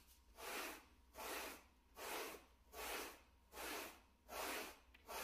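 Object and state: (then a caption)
Shag carpet mat being brushed. A wooden-backed bristle brush held in a gloved hand is brushed across the pile of a small, solid, flat grey plush shag carpet mat. Seven evenly paced strokes produce soft, airy scratching swishes that are broad and bright, with quiet gaps between each pass.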